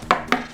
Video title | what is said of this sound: Enfin les problèmes se terminent ! | ça sonne creux et il a cassé là en premier et il a vu que bah du coup tu avais les les tuyaux